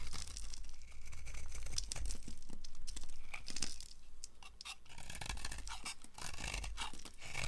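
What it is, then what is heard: Dry bar soap being scraped. A solid green bar of dry soap, held in one hand, is scraped and shaved with a small knife with a red, then yellow, handle, shedding flakes and powder. Quick, uneven scratchy rasps of the metal blade repeat throughout with a bright, crisp edge over a low steady hum, easing quieter in the middle before picking up again.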